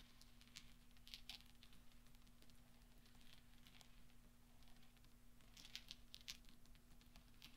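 Small solid steel pachinko balls are rolled and clinked with nails and fingertips on black velvet. Soft, scattered metallic taps and brief high pings sound over a steady low hum, with occasional brighter clicks standing out.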